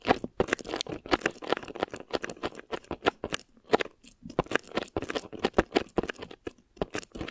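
Long fingernails on both hands scratch thin plastic wrap stretched over a microphone head. The result is a quick, irregular run of dry, crinkly scratches and crackles, each burst sharp and short with no ring. The sound centers in the mids, with little low end.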